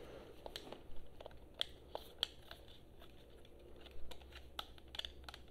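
Long nails tap and scratch the surfaces of a hollow blue and black plastic PS4 controller held in both hands. Quiet, sharp, clicky taps with a bright edge stand out against a soft scratching hiss and a low background rumble.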